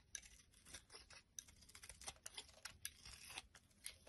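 A blade scrapes and cuts flakes from the top of a solid light-green bar of soap held in the palm. Quiet, bright, crisp scraping is punctuated by repeated short, sharp cutting ticks with little low end and almost no ring.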